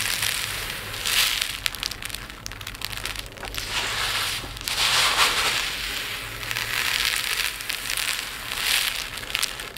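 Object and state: Pile of resin diamond art drills being poured.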